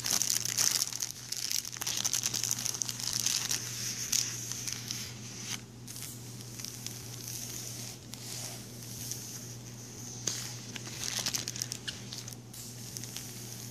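Fingertips rub, press and crinkle a thin clear plastic page protector that holds an ink drawing on paper and lies flat in a binder. The result is a dense, bright crackling crinkle, loudest in the first two seconds and flaring again around 4, 10 and 11 seconds, over a steady low hum.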